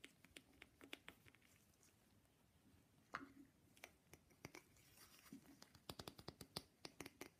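Fast, light tapping on an authentic wooden matryoshka nesting doll produces many sharp, clicky wooden taps that die away almost instantly. The taps come in quick bursts with brief pauses, heard quietly and up close.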